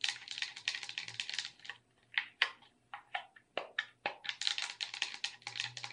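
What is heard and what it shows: Long red nails tap and scratch across the buttons and body of a hollow, handheld black plastic gamepad with red accents. Rapid bursts of bright, dry clicks and scratchy ticks fill the first half, thin out briefly around two seconds, then return as scattered sharp taps and another dense flurry.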